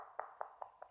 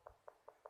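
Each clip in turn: First: hollow-sounding (drummy) porcelain floor tile. Second: solidly bonded porcelain floor tile (not hollow).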